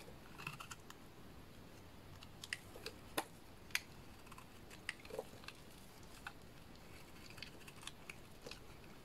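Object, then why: Pink bar soap cut with a blade. A solid pink soap bar held in hands is cut with a small blade, shaving off chunky flakes that pile onto a mat. Quiet, irregular crisp clicks and short scraping snaps ring out over a low steady background, with a few sharper bright cuts standing out.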